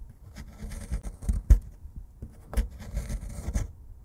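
A solid plaster excavation block is scraped with a metal pick, then scratched and poked with a plastic stick inside a dug hollow. The result is quiet, dull, low-heavy scraping and gritty scratching in short bursts, with a few sharper taps standing out.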